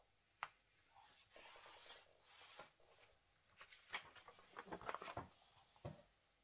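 Fingertips and long manicured nails rub, scratch and smooth across the pages of a large, thin, flexible glossy paper magazine lying open and flat on a wooden table, with occasional page turning. Soft papery rustling and bright scratching are broken by a few sharp crinkling snaps before it settles back to a quiet hiss.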